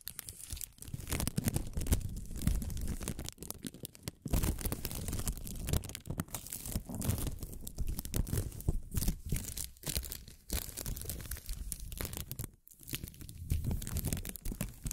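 A thin pink strip of plastic film ribbon tape is pulled taut and crumpled between the fingers close to the microphones. It makes a dense, continuous crinkling and crackling with a heavy, muffled low-end rumble. Brief gaps occur near 4 and 12.5 seconds before the crumpling resumes.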